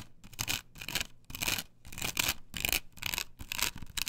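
Long nails scratch and rub across a flat, perforated plastic stencil template glued to a wooden board. The result is a series of bright, rasping strokes, about two a second with uneven timing, separated by short quiet gaps. The sound is mostly high and hissy, with a faint tonal edge near 2.6 kHz.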